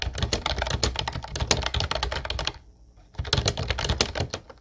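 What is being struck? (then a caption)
Plastic keyboard with round keycaps. Fingertips of both hands type fast on a light blue plastic Ubotie retro keyboard with a hollow body and round white keycaps, producing a dense run of clacky, hollow taps with a bright top and a thumpy low body. The typing pauses briefly around the middle, then resumes at the same quick pace before trailing off.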